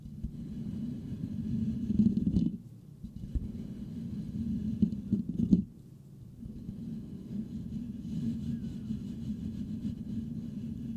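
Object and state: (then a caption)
Metal microphone grille being scratched. Fingertips of both hands scratch and rub the perforated metal mesh grille on the hollow head of a white Blue Yeti microphone. The result is a dense, low, rumbling scratch centered around 180 Hz, broken by two short quiet gaps before the rubbing resumes steadily to the end.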